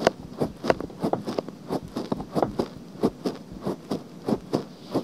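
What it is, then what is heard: Silicone binaural microphone ear being scratched. Long nails scratch the outer ear of a pale pink silicone binaural microphone. About fifteen short, dry, raspy scratches come in a loose, uneven rhythm, each a brief scrape with a bright edge and almost no ring. Quiet hiss fills the gaps between them.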